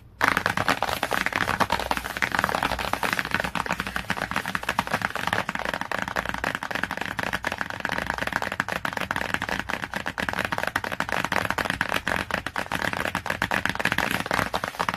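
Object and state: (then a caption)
Glossy cardboard hardcover book. Long nails on clawed fingers tap and scratch rapidly across the glossy cardboard cover of a hardcover book. The result is a dense, continuous stream of short, dry clicks mixed with scratchy scraping, centred around 1.5 kHz with little low end and almost no ring.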